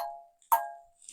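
A fingertip flicks the steel cup-hilt bowl of a Kvetun rapier twice, giving two bright, metallic dings near 900 Hz that ring briefly and fade. The bowl sounds solid, even after two to three months of use once or twice a week.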